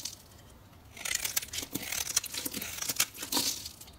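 A solid green bar of soap, held in hand, is carved and scraped with a metal knife, shaving off fine curls. After a quiet first second, there is a run of bright, crisp scraping and crackling strokes with a dry, papery texture and almost no low end.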